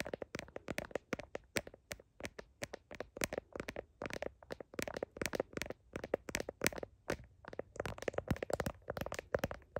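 Long nails tap and scratch the back of a blue heart-patterned plastic smartphone case near the camera. The result is a rapid, uneven stream of short, dry clicks with almost no ring, centered in the low mids with bright edges, and faint scratchy rustling between the taps.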